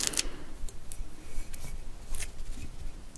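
A large, hollow, empty conch shell of spiky cream-coloured calcium carbonate is held in one hand and tapped and scratched with long acrylic nails. Crisp, bright clicks and short scratchy strokes come in a quick, irregular series over a soft low rumble, each click dying away almost at once.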